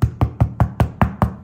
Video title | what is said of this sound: EKŞİ MAYALI EKMEK EĞİTİMİ 9.VİDEO | Quand on le tapote sur le dessous, il devrait produire un son creux.